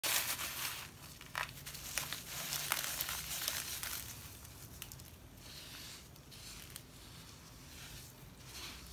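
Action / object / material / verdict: scrape / loose damp sand / sand / none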